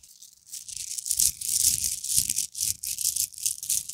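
A small gold-colored plastic necklace of solid small beads on a chain is swung, piled on a table, and shaken and rubbed between cupped fingertips, with some fingernail contact. It makes a continuous, bright, crisp rattling of the beads in quick, uneven bursts.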